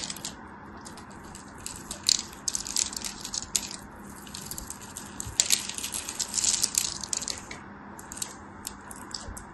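A small craft blade carves cubes out of a solid opaque yellow soap bar with a pre-scored grid, held in fingers with long white nails, and the cubes crumble off. Dense, crisp, bright crunching and crackling scrapes come in quick bursts over a faint steady low hum, with louder crumbling flurries around the middle.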